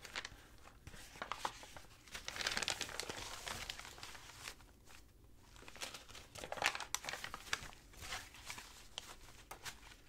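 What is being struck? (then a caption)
Stack of thin paper sheets. Fingertips with long nails rub, scratch and fold a stack of thin, dry, tea-stained crinkled paper sheets, then turn the pages over. Dense bright crinkling and crackling comes in bursts of quick, sharp rustles, louder around the middle and later moments, with no lingering ring.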